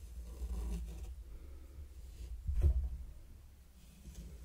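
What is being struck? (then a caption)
Fine sand on a wooden board raked with a small wooden rake. A mini wooden rake is dragged through fine pink sand covering a large, flat, heart-shaped wooden board. The result is soft, low scratching and raking, with a slightly louder swell of scraping midway through before it fades back to a quiet rustle.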